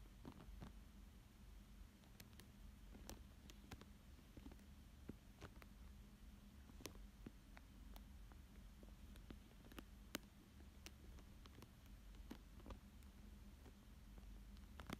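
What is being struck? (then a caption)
Thin plastic film over paper. A thin dark tool traces and scratches across a thin clear plastic sheet lying flat over a paper fish drawing. Soft crinkles and scattered short, sharp scratching ticks sit over a quiet, steady low hum. The sounds stay faint and close throughout.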